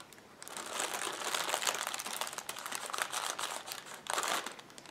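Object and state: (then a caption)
Plastic air pillow packing cushions. Several clear polyethylene air pillow packing cushions, hollow and filled with air, lie flat on a table while fingertips and nails rub, scratch and press across the plastic surface. A continuous, bright crinkling and scratching rises after a quiet start, with dense crackly texture and a louder swell near the end.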